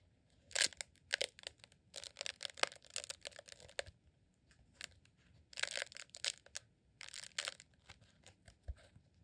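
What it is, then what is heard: Rolled beeswax candle. A green rolled beeswax sheet candle, a honeycomb beeswax tube held in both hands, is squeezed and scratched with fingertips. It gives bursts of dry, bright crackling and crinkling that come in quick clusters with short quiet gaps between them. Each scrape stops sharply with no ring.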